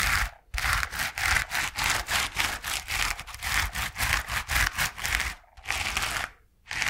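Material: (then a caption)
Foam. A yellow coarse foam paint-roller sleeve, about hand length and hollow with a white plastic core, is held in both hands and scratched and rubbed with the fingertips and nails. A quick, uneven run of dry, bright scratching strokes produces a hissy rustle centred around 2 kHz, with short pauses near the start and toward the end.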